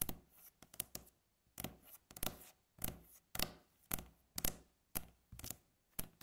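Long fingernails tap and scratch a solid, flat, light-coloured wooden tabletop, making about fifteen short, dry clicks in an irregular rhythm. Each tap has a low knock with a bright nail tick, and some are followed by brief soft scratching that dies away quickly.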